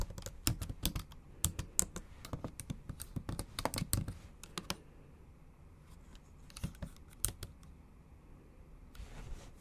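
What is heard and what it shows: Long acrylic nail tips and fingertips type on the backlit black plastic keys of a MacBook Pro in a silver aluminium body. Bright, dry clicks come in quick, uneven bursts for the first few seconds, then thin out into scattered taps. A brief soft hiss rises near the end.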